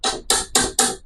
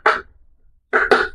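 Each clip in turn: First: petrified wood that sounds like stone, not wood. Second: wooden table (wood sound).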